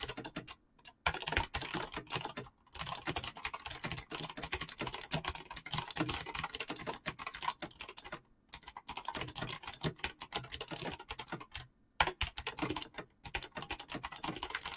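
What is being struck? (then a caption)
Mechanical keyboard with plastic keycaps. Fast typing on a full-size backlit Razer BlackWidow mechanical keyboard with clicky green switches and pastel gradient dyed PBT plastic keycaps, struck by fingertips with short painted nails. Dense bursts of rapid, bright, clicky key presses with a hollow plastic tone, broken by a few brief pauses.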